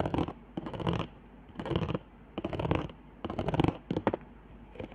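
Long nails on both hands scratch the raised hot-glue zigzags and lines across the upper half of a flat handmade cardboard trigger board. Short, irregular bursts of dry, raspy scratching come and go with quiet gaps between them. The sound is muffled, with little high-end sparkle.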